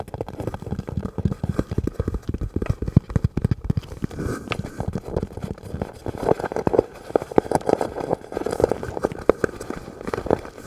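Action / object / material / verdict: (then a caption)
tap / rubber and plastic gas mask / rubber / none. Fingertips tap rapidly and continuously on the plastic eye lenses and rubber body of a hollow, black rubber full-face gas mask with an attached filter canister, held in the hands. The taps are short, dull and muffled, with most of their energy in the low and middle range and very little high-end brightness. They form a dense, uneven patter with no ringing after each tap.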